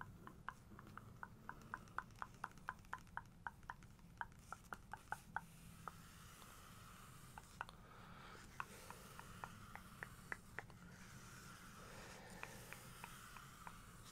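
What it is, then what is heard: Glossy paper book page, nail taps. Long nails tap rapidly on the glossy paper of a bodybuilder photo page in an open hardcover book. A steady run of sharp, dry clicks with a bright, papery tick sits over a quiet low rumble. The taps come in a quick flurry, thin out midway, then return in scattered bursts.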